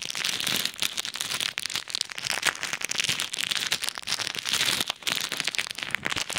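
A small clear plastic bag full of pink and white plastic pearl beads is held over an ear microphone while fingertips press and rub it. The beads crackle inside in dense, bright, crinkly bursts that are almost entirely high-pitched, with very little low end and no pauses for the full clip.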